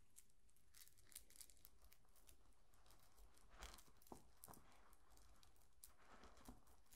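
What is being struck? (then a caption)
Wooden bead bracelet. A string of small round brown and black beads that look like wood is held close to the microphone, then rolled and rubbed between the fingertips and nails so the beads click together. The result is quiet, dry clicks and crinkly rustling with short bright ticks over a steady low rumble.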